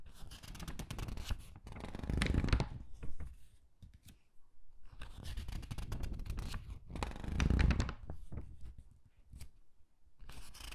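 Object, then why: Thin matte paper catalog. Fingertips turn the pages of a thin matte-paper jewelry catalog held open and rub them flat. Soft papery rustling and dry scratchy brushing rise into two louder swishing page turns, near 2.5 and 7.5 seconds, over a low, muffled rumble.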